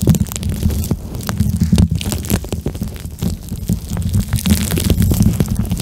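A small, soft pink plastic eye mask filled with gel beads is pressed against the mic and squeezed and rubbed with fingertips and nails. The result is a continuous, muffled, bassy squish and rumble, heavy below 200 Hz, with quick crackly clicks and faint bright scratches scattered throughout.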